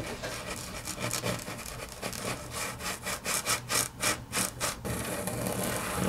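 Long natural fingernails scratch and tap a large, flat, solid grey wood-grain laminate tabletop. A steady, dry scratching texture builds into a run of quick, rhythmic bright strokes in the middle, then settles back into continuous rubbing. A faint low hum sits underneath throughout.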